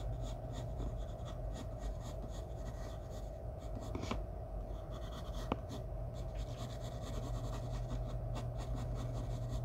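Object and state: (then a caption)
Pencil shading on drawing paper. A graphite pencil scratches a thin sheet of white drawing paper, taped flat on a wooden table, in short shading strokes near a portrait's head. A steady, soft, raspy scratching runs throughout over a low background rumble, broken by two brief, sharp ticks.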